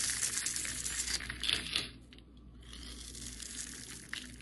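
A dark utility knife blade carves and scrapes small pieces off the scored surface of a solid orange-yellow translucent bar of soap held in hand. Dense, bright, crisp crackling and scraping fill the first two seconds, then drop to a brief near-quiet lull before softer scraping resumes with a final sharp click near the end.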